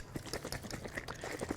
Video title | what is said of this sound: Class 13: Neal Bosshardt - Miraculous & Medicinal Benefits of Natural Clay + Emergency Uses | you shake it up and you can hear how runny it is